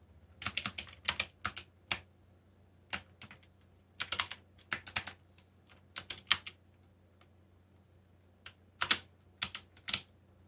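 Fingertips type on a backlit plastic mechanical keyboard with black plastic keycaps, producing bursts of short, bright, crisp clicks in irregular clusters separated by brief pauses. Each keystroke stops almost instantly over a quiet, faint low hum.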